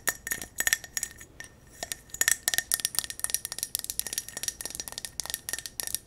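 A silver mercury-glass candle jar filled with yellow wax is tapped quickly with long nails on its glass sides and metal rim. The result is a fast run of bright, sharp clicks and clinks with a faint steady high ring under them. Each tap dies away almost at once.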